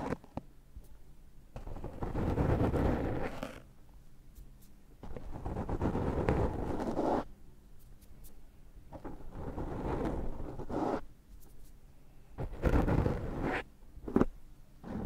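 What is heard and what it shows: Fingertips of both hands rub and scratch a dark foam microphone windscreen. The sound is close, muffled, low-heavy rustling and scraping in several swelling bursts, separated by quieter gaps, ending with a short sharper scratch.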